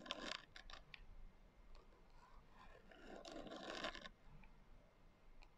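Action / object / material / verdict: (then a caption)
scrape / hardcover journal with a coarse glitter cover / glitter, cardboard / none. Long nails scratch the coarse glitter cover of a small, closed hardcover journal resting on a table. A burst of quick, bright, gritty strokes opens the clip, then softer rasping leads into a longer, louder scrape before a few faint scratches trail off.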